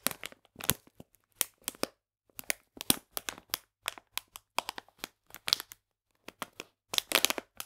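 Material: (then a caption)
Plastic. A full plastic bag of polenta is held on its side while fingernails scratch and crinkle the plastic. The result is a string of short, dry, bright crackling bursts separated by brief silences, with almost no low end and no ring after each burst.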